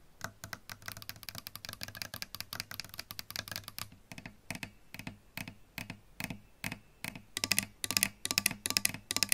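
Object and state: Electric guitar body tapped with nails.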